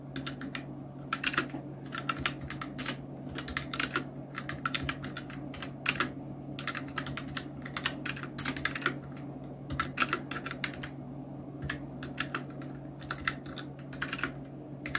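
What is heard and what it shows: Continuous two-handed fingertip typing on a full-size black Nubwo Illution NK-70 mechanical keyboard with Outemu red switches, round plastic keycaps and blue backlight. Rapid, uneven bursts of short, bright plastic clicks and clacks run throughout, with a steady low hum underneath.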